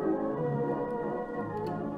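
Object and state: Nothing is struck.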